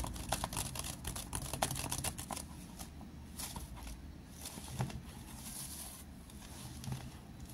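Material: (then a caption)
Plastic. Fingertips and short nails tap quickly and unevenly along the ridged side of a large, clear, seemingly empty PET water bottle with a blue label, lying on its side on a desk mat. The bottle gives sharp, crinkly plastic clicks over a low hollow rumble, dense and bright at first, then thinning into softer, scattered taps.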